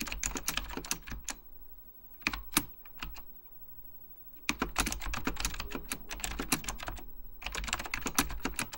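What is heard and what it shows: Fingertips type continuously on a beige plastic full-size Apple Extended Keyboard II, its hollow plastic keycaps clacking over mechanical switches. Bursts of sharp, bright key taps are broken by a brief quieter pause in the middle before the rapid typing resumes.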